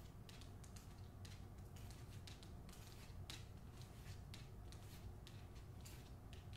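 Long nails scratch and tap the glossy paper dust jacket of a hardcover novel held by its top edge. Quiet, dry scraping strokes and light taps repeat in bright bursts over a steady low hum.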